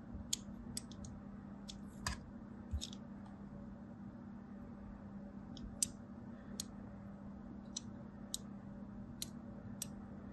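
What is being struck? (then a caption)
Bar of soap scored with a thin blade. A thin blade scores lines into a solid striped soap bar, making a series of short, sharp, bright clicks and scratches spread irregularly over about ten seconds. Each click dies away almost instantly over a steady low hum.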